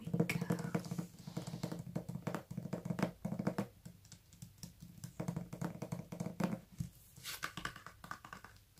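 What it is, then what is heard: Paperback book tapped with nails. A hand-sized "Prowlers" paperback, a solid paper block with a glossy card cover, is held up and tapped on its cover and spine with long nails and fingertips. Many quick, dry taps patter in uneven bursts, mixing dull low thuds with sharper clicks that stop almost instantly.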